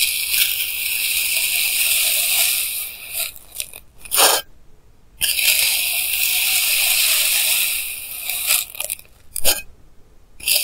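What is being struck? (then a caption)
Block of kinetic sand cut with a plastic knife. A clear plastic knife held in hand slices solid pink kinetic sand blocks into thin layers, recorded with a clip mic. Two long, bright, crunchy scraping cuts run for several seconds each, followed by short sharp scrapes and brief near-silent pauses.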